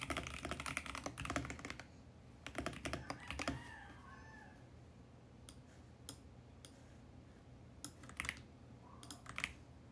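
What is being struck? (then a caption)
Mechanical keyboard with plastic keycaps. Fingertips type on a VGN X68 compact mechanical keyboard with a mint plastic case and purple and teal plastic keycaps. Two bursts of fast, clacky keystrokes come first, followed by a faint rising and falling tone. The rest of the clip has only scattered single taps over a low, steady background hiss.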